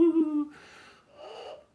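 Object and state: Nothing is struck.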